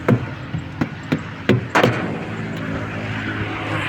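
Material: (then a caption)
Rubber. A rubber truck tire is knocked six times during a pre-trip check, giving dull, low thuds with a short ring over a steady low rumble. The tire is low on air and is to be inflated later.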